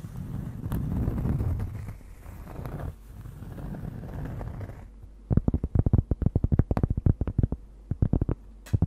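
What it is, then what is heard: Cork board. Long nails scratch across a large, thin, solid round cork disc held against the microphone, making a dull, low, rumbling scrape for about five seconds. The nails then switch to a quick series of short, muffled taps on the cork that stop almost instantly, each tap dry and thudding.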